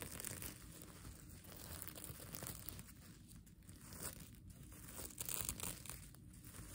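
A plastic sequin mermaid tail blanket is held up while fingers and nails scratch and flip its sequins. The result is a steady, dense crinkling and scratching with a bright, hissy top and a soft low rumble underneath, swelling slightly in a few places but never pausing.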